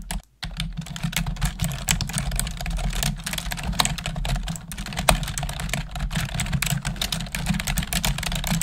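Long acrylic nails and fingertips type rapidly on a black plastic desktop keyboard, producing a dense stream of bright, sharp clicks and clacks. A steady low hum runs underneath the typing, which pauses only briefly near the start before continuing.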